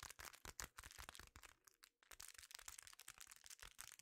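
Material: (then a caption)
Metal foil. Fingertips press, scratch and crinkle a thin, empty silver foil bubble-lined mailer. The result is a quiet, rapid run of bright, crackly taps and crinkles, with a brief lull near the middle before the crinkling picks up again.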